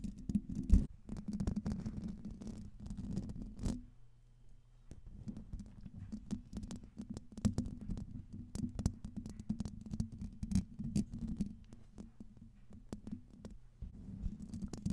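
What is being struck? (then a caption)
Metal mesh microphone grille. Long pink nails scratch the hollow domed metal mesh grille of a silver Blue Yeti microphone, making a close, muffled scratching with a low, rumbling body. Dense, quick scrapes and small ticks continue throughout, with a brief quieter lull around the fourth second.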